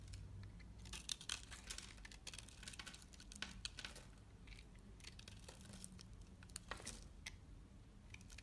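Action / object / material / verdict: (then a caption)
scrape / bar of soap cut with a knife blade / soap / none. A utility knife blade slices thin strips from the scored surface of a solid lilac soap bar held in hands with long red nails. Quiet, crisp, bright scraping and crackling bursts come in quick irregular runs, with a few sharper snaps, over a steady low hum.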